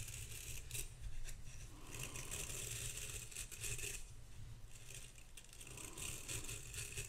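Long pink acrylic nails scratch the dense bristles of a vintage hairbrush and tap its embossed bronze-coloured metal back and handle, with the brush held in front of a microphone. A steady, bright, scratchy rasp runs throughout over a low rumble, with faint clicks from the taps scattered through it.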